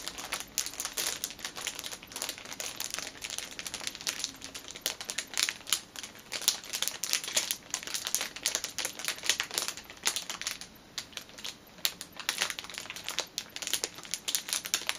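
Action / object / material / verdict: scrape / thin plastic wrapper over a packaged band / cellophane / none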